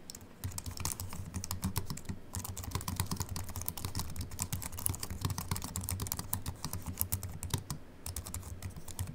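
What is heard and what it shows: Fingertips of both hands type on a compact Apple keyboard with a silver aluminium body and white plastic keys, resting on a wooden desk. A steady, rapid stream of short, bright, crisp key clicks with almost no ring continues throughout, over a constant low hum.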